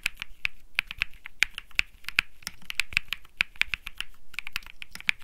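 Fingertips type continuously on a cream mechanical keyboard with plastic keycaps. It makes a rapid, uneven stream of sharp, bright clicks with a strong tone around 2.3 kHz, each dying away almost instantly.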